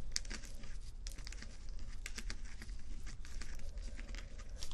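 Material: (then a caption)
Acrylic plastic. Rows of small plastic acrylic rhinestone sticker strips on fabric are scratched with fingernails. This makes a steady run of dry, bright, crinkly scratches and quick ticks over a low rumble.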